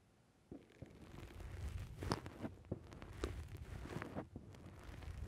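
A thumb and fingers squeeze the side of a black foam windscreen on a microphone. After a brief quiet start, it makes close, muffled squishing and rustling with a steady low rumble and scattered short crackling pops.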